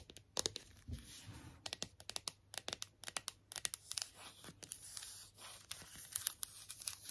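Long nails tap and scratch the front and back of a hollow, hard plastic strawberry toy figure. Quiet, bright, crisp clicks come in quick irregular bursts, mixed with thin scratchy rustling. Each tap stops dead with almost no ring.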